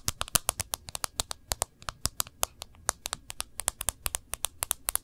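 Long nails tap and scratch along the side edge and glass screen of an iPhone with a gold edge in a thin protective case, screen side visible. A quick run of about 37 sharp, bright clicks sounds with short, dry scrapes between them, each tap dying away almost instantly.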